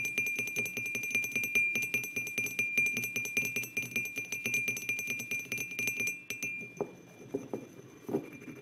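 Fingertips and short nails of both hands tap rapidly on the sides of a white glazed ceramic mug with a printed design, resting on a wooden table, producing bright, quick clicks over a steady ringing tone near 2.4 kHz. After about six seconds the tapping stops, and a few softer, duller knocks and handling sounds follow as the hands grip the mug.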